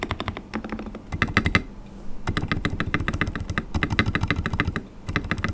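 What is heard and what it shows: Fingertips type on a full-size white RK100 mechanical keyboard with transparent polycarbonate keycaps and linear switches, resting on a desk mat. Quick, short-ringing keystrokes have a deep, thocky low body and a light bright click on top. They come in fast bursts, with one brief pause near the two-second mark.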